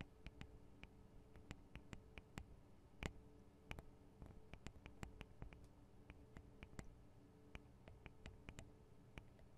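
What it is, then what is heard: Recorder microphone capsules tapped with nails. Long decorated acrylic nails tap and scratch directly on the two small hollow microphone capsules of a Tascam DR-40 handheld recorder, whose metal-looking housings have plastic parts. The result is an irregular stream of sharp, close clicks and ticks, each with a deep, boomy thump and a bright crack that dies away almost instantly. Soft scratching and a faint, steady low hum fill the gaps between taps.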